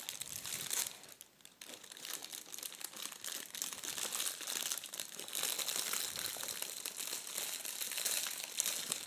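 A large crumpled sheet of shiny red metallic foil gift wrap is rubbed and crinkled with the fingertips and palms. It makes a dense, bright, continuous crackling with almost no low end, dipping briefly near the start before settling into steady crinkling.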